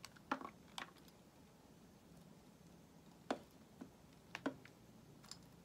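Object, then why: Solid bar of soap cut with a metal blade. A solid white bar of soap, held in the hand, is shaved and carved with a metal utility knife blade. Quiet, short scraping clicks and crisp slicing ticks with bright edges come in scattered bursts. Pauses of faint hiss separate them, and each cut stops almost at once.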